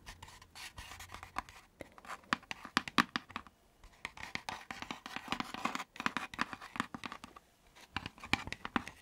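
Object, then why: Thin laser-cut wooden lantern box. Long nails and fingertips scratch and tap the thin wooden panels of a hollow, pointed hexagonal laser-cut wooden lantern box with a pierced floral fretwork pattern, lit from inside and held close to the mic. Dry, crisp scratches and quick clicky taps come in dense, uneven bursts with short pauses between. The sound is bright and light with very little low end, and each tap dies away almost instantly.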